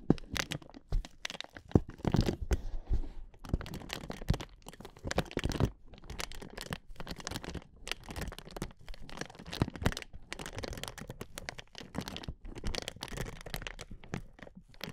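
Hands with long nails squeeze and rub the sides of a clear, hollow, air-filled inflatable plastic air-column cushion. The result is a steady run of close, dense crinkling and crackling with quick, sharp snaps. The sound is full of low-end body, and short louder bursts rise out of a continuous rustle.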